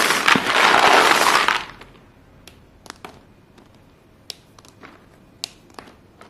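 A large pile of short solid white chalk pieces on a blue surface is scooped and squeezed between chalk-dusted bare hands, and the pieces grind and crunch together in a loud, broadband burst for about the first 1.6 seconds. After that come scattered sharp, bright clicks and snaps of chalk breaking over a quiet background.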